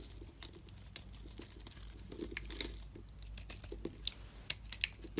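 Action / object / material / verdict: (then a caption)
scrape / bar of soap / soap / none. A blade scrapes the surface of a solid white soap bar and breaks chunks off it. Soft, dry crumbling and scraping runs throughout, broken by sharp, bright snaps and clicks that grow more frequent toward the end. The sound is quiet and close, with each crack dying away almost instantly.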